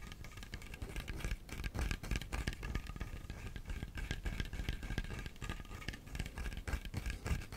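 A whole brown coconut, a bit smaller than a head, with a fibrous hairy shell and hollow with liquid inside, is held in both hands close to the mic and scratched and tapped with fingertips and nails, possibly also shaken. The result is a dense, irregular stream of short, dull, low thuds and rattly scratching that stays fairly steady throughout.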